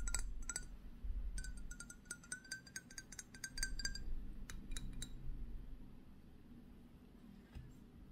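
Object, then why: Thick glass perfume bottle. Fingertips and nails tap and scratch the flat front and sides of a thick, rectangular Narciso Rodriguez For Her glass perfume bottle, about 12 cm tall, solid-walled and filled, with a black-coated interior. Quick, irregular, bright glassy clicks with a short ring come in clusters over a low, steady rumble. The taps thin out toward the end, leaving a quieter background.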